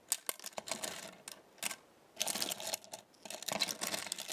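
Small thin metal stars on a black star-shaped magnetic base are plucked with fingertips and long nails and let snap back. The result is quick, bright, high metallic clinks and ticks in clustered bursts, with very little low end and almost no ring.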